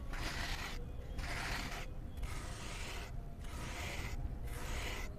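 A flat blade held in the fingers scrapes and shaves crumbly layers off a round, solid, grey cement disc sitting in cement powder, leaving gritty cement chunks. Repeated dry, raspy scraping strokes sound over a steady low rumble, each stroke bright and gritty with short quiet gaps between.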